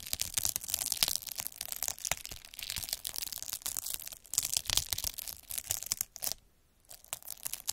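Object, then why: Plastic bubble wrap sheet scraped by a needle roller. A metal-needle derma roller is rolled back and forth over a clear plastic bubble wrap sheet with air-filled bubbles, scratching it. The result is a dense, bright crinkling and crackling with many sharp ticks and pops, briefly pausing to near silence toward the end before resuming.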